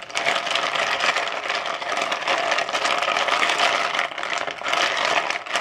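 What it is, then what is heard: Ice cubes stirred in a plastic bowl. Fingertips rake and stir ice cubes inside a translucent plastic bowl, making a dense, continuous clatter of bright clicks and knocks with almost no low end. The rattling holds steady for the whole clip, easing briefly twice before picking back up.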